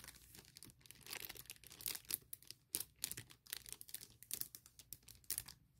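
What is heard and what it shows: Long painted nails and fingertips scratch and rub across a large, clear plastic bag printed with "CASE for MacBook," lying flat with a laptop case inside. The result is a quiet, bright, crinkly rustling made of quick scratchy bursts that rise and fall, with almost no low end.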